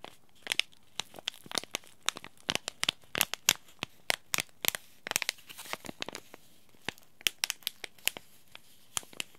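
Fingertips squeeze and crinkle a small white Yogi Tea sachet made of paper-foil laminate with a tea bag inside. It makes a steady run of sharp, bright crinkles and snaps, each dying away almost at once, with little low end and short quiet gaps between bursts.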